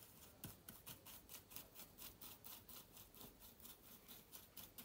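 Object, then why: Laptop keyboard with plastic keys in an aluminium body. A small soft brush sweeps back and forth over the plastic keys of a silver laptop with an aluminium body. It makes quiet, bright, hissy brushing strokes with faint soft clicks, repeating at roughly two per second in an uneven rhythm.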